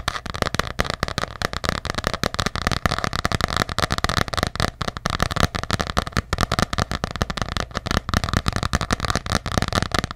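Long nails tap fast on the cover of an ornate hardcover paper journal held close to a microphone. The taps run in a dense, steady stream of short, dry clicks with a soft low thump under them, and each one dies away almost at once.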